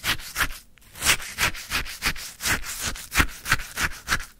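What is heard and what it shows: A wooden stick stirs and scrapes icy frozen lemon sherbet in a full white paper cup. It makes a steady run of short, crunchy, gritty scrapes, about three a second, with bright crackling texture and a soft low thump under each stroke.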